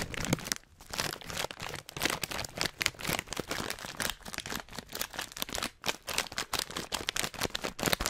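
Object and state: Plastic foil snack bag.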